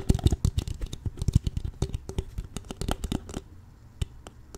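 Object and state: Empty plastic water bottle, crinkled and tapped.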